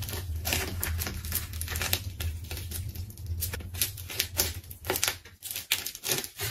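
A craft knife cuts through a pink layered plastic tape ball, making dense tearing and crinkling crackles in quick, uneven bursts. The crackles are bright and short, over a steady low hum.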